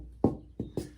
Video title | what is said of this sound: Preparing a soundboard blank :How to build a guitar pt 7 | you can hear it ring you get sort of an idea of what it's going to sound like